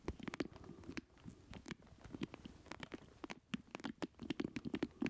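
A small square black plastic retro joystick controller, with a red button, a ridged round base, a hollow housing and its cable hanging down, is held up and tapped and scratched across its casing with fingertips and nails. A quiet, rapid run of hollow plastic taps and clicks gives a low-mid knock, with bright ticks and a soft scratchy rustle between them. Each tap dies away almost at once.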